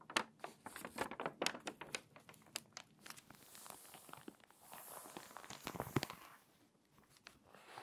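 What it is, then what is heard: Glossy paper magazine, page turned and rubbed flat. A hand turns a page of an open, crinkly, water-damaged glossy paper magazine and rubs the new spread flat with its fingertips. A dense run of sharp, bright crackles and crinkles comes first, then a softer brushing rustle swells, peaks in a crisp snap near the six-second mark, and fades to faint rubbing.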